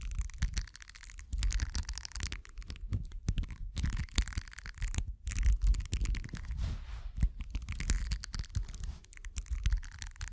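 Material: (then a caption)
Silicone. The two metal prongs of a pink-handled tool scratch and poke across the small bristle nubs of a thin, solid, flat purple silicone face-scrubber pad with a few water droplets on it. Dense, rapid scratchy crackles and soft ticking scrapes come in uneven bursts over low thumpy rumbles, with a bright airy hiss and short quiet gaps between strokes.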